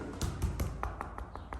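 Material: Rock.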